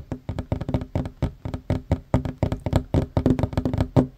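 Hands with short fingernails fast-tap a flat, solid wooden tabletop in a rapid, uneven run of about 26 taps. Each tap is a short, dull knock with a low body and a faint woody tone. Each sound dies away almost at once, with little brightness.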